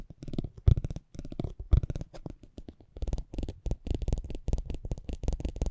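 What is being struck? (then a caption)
Thin cardboard trading card rolled over with a spiked metal wheel. A metal spiked pinwheel is rolled across a small, thin cardboard racing trading card held in the fingers. It makes rapid, irregular clicking and scratching in dense bursts, with a deep low rumble under the taps and short pauses between passes.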